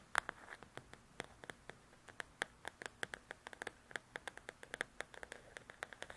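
Long nails scratch and tap the glossy cover of a large, flat, solid paperback coloring book, striking it with the nail tips. About 33 crisp, quiet clicks land in quick, uneven succession, each bright and very short with almost no ring, over a soft scratchy hiss.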